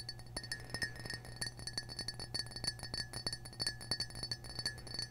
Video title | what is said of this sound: ASMR - cheery red triggers (ft. crinkles, tapping, whispers, mic scratching, & more!) | because we all like a little glass tapping